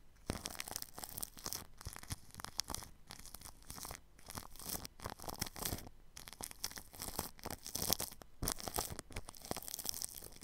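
A paintbrush brushes plastic cling film wrapped over a ball microphone's grille. Dense, bright, crinkly rustling and scratchy strokes come in quick bursts separated by short pauses, with a faint low thump under some strokes.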